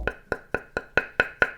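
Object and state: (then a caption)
Carbon-wood table tennis blade tap. Eight evenly spaced taps on the wooden ply of a Xuperman SUPER A1 table tennis blade, with an outer carbon-fibre layer in 5+2 construction, koto, ayous and wood core. Each tap is a short, dry knock with a bright tone around 1.5 kHz that dies away almost at once.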